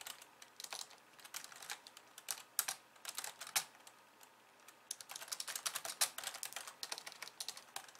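Long polished nails and fingertips type rapidly with both hands on a compact pink and white plastic computer keyboard resting on a wooden desk. Quick, bright, clicky taps come in dense bursts, each dying away almost instantly. A brief lull falls midway before the fast typing picks up again.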